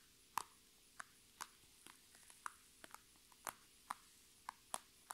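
Long red nails tap and scratch on an iridescent holographic transparent PVC Sephora makeup bag with items inside, resting on a table. About twelve short, crisp clicks sit around 1 kHz with bright high ticks, spaced by quiet gaps and faint scratching. A steady low hum runs underneath.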